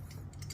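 A heart-shaped metal puzzle padlock is shaken, giving quick, light metallic clicks and rattles over a steady low hum. The lock is quite loose, and it sounds less tight than the previous lock.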